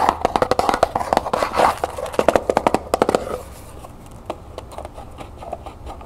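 Long nails tap, scratch and rub the sides and lid of a small hollow cardboard gift box covered in copper paper, held and then set on a table. Rapid, crisp taps with a hollow ring around 670 Hz mix with dry scratching for the first three seconds. The sound then drops to softer, sparser tapping and rubbing.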